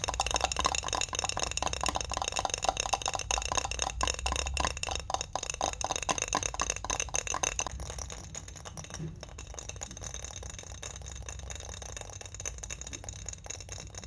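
A clear, medium-sized glass mason jar with a silver metal screw lid, filled with folded pink paper notes, is held in the hand and tapped and scratched on its glass sides and lid with long fingernails and fingertips. Fast, dense clicking taps and bright, scratchy glassy clinks come in a loose rapid rhythm. The sound is louder for the first half, then settles into quieter, softer tapping and scratching.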